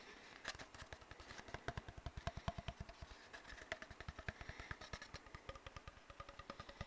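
An empty, hollow brown cardboard paper towel tube, held horizontally over the mic, is scratched and rubbed with fingertips and short nails. The result is a quiet, rapid, steady run of short, dry scratching strokes. Each stroke carries a low, hollow thump and a faint bright rasp that stops almost at once.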